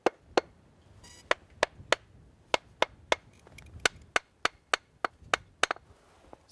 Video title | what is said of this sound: Bolting Skills: Drilling | what you're looking for is that solid rock rather than the dull or high pitch sort of fractured rock we don't want to be bolting to